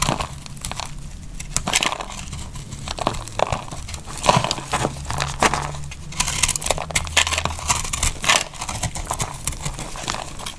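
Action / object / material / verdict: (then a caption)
scrape / bar of soap cut with a knife blade / soap / none. A solid, oval, pink and blue marbled bar of dry soap is held in the hand and carved with a metal utility knife blade. Steady scraping and cutting make dense, dry, crackly crunches and bright shaving scrapes over a faint low hum.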